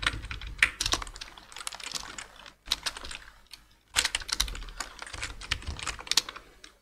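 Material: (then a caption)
Plastic. Two hands type with their fingertips on a black plastic full-size computer keyboard. Quick bursts of bright, short key taps are broken by brief pauses. The clicks are dry, with almost no ring and little low end.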